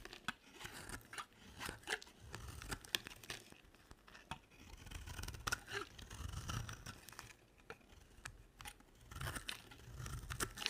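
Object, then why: Bar of soap cut with a blade. A hand with long nails holds a two-tone pink and white solid bar of dry soap while a box-cutter blade shaves and cuts into it. The result is a steady run of crisp, dry scraping and crunching strokes, each stopping short with no ring, some louder than others and with a bright edge.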